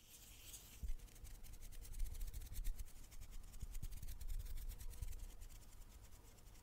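A wooden table is tapped with the fingers, giving a string of dull, low thumps. Faint scratchy, bright rustling runs beneath the taps at a low, steady level.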